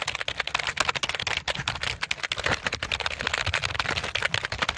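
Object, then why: Plastic computer keyboard. A full-size, hollow black plastic computer keyboard is held in both hands in front of the microphone while fingertips press and tap its keys quickly. The result is a dense, rapid stream of short, bright plastic clicks with almost no ring and little low end.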